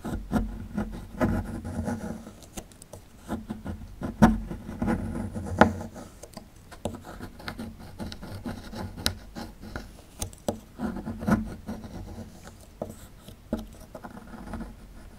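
A metal pick tool scrapes along the edge of a small, solid plaster block held in the hand. It makes a steady, dry scratching and rasping sound that is mostly low-mid and dull. Sharper ticks and clicks stand out where the tip catches or chips the plaster.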